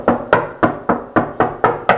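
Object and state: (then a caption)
Hollow drywall between studs. Eight quick, evenly spaced knocks on a drywall wall between studs give a hollow, mid-pitched thud with a short ring. The hollow sound shows there is no stud behind the drywall at that spot.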